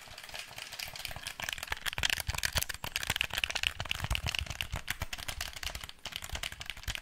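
A black, hand-sized, hollow plastic PlayStation 4 controller is held in front of the mic while fingertips and nails tap its shell and buttons. The result is a continuous stream of rapid, dry, bright clicks and plastic taps with almost no ring, holding a fairly even level for the whole seven seconds.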